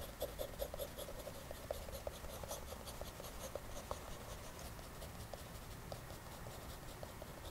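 An orange mechanical pencil makes short hatching strokes on white drawing paper in an open sketchbook resting on a table, its graphite tip scratching across the page. The result is a quiet, steady run of quick, dry scratches, each with a short bright hiss and a faint tick near 570 Hz that dies away almost at once, over a soft low rumble.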